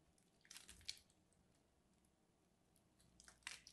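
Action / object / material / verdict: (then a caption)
scrape / bar of soap scraped with a craft knife / soap / none. A craft knife scratches scores into a solid lavender and white striped bar of soap held in the hand, flaking pieces off. Quiet, bright, crisp scraping crunches come in two short bursts, one near the start and one at the end, with near silence between.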